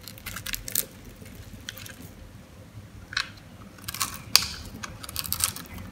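A metal knife blade scrapes and crumbles the scored surface of a white, oval, solid, dry soap bar held in the hand. Soft, bright, crunchy scratching and crackling come in short bursts over a quiet background, with one sharper snap standing out near the middle.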